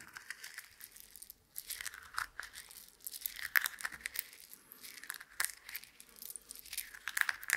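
A handful of small, solid, dry roasted coffee beans is held in a closed fist and squeezed and rubbed together by the fingers and palm. This gives a dense, dry crunching and rustling, with many quick, bright clicks over a soft, grainy hiss. The sound has almost no low end and comes in short swells of louder crunches.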